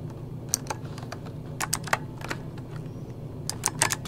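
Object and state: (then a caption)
Plastic mechanical keyboard being typed on. Fingertips of both hands type rapidly on a full-size backlit mechanical computer keyboard with plastic keycaps. Eleven sharp, bright, clicky key taps come in uneven bursts, each cutting off almost instantly, over a steady low hum.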